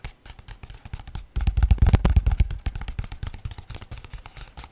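A single large sheet of thin white paper, curled and held in one hand near a pink foam-covered microphone, is scratched and rubbed by fingertips with medium-length nails. The result is a rapid, uneven run of crinkly scratching taps with a heavy low thump. It swells louder for about a second in the middle, then settles back to softer scratching.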